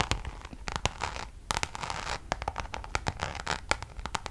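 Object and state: Coated canvas pouch scratched with nails.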